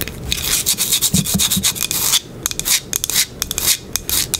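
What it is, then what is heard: Wooden box. Long pink acrylic nails quickly scratch and tap the surface of a small, flat, light wooden box or block with dark round dots at the corners, held in the hands. Bursts of bright, dry scraping and rubbing hiss come in an uneven, rapid rhythm with sharp clicks and almost no ring.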